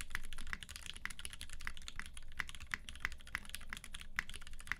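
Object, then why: Mechanical keyboard with plastic keycaps and aluminium case. A UTD 360C tenkeyless mechanical keyboard in a silver aluminum case with a gummy-worm mount, white PBT keycaps and Vintage Black switches lubed with 205g0 and filmed, is typed on continuously with the fingertips of both hands. Rapid, sharp keystrokes clack with a short, dry decay and a bright peak near 2 kHz over a low, steady rumble.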